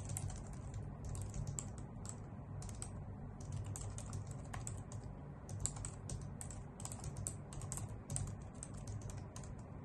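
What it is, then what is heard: Plastic computer keyboard. A white full-size plastic keyboard with hollow key caps is typed on with long nails and fingertips. Rapid, bright, clicky taps run continuously over a steady low hum, with each tap dying away almost at once.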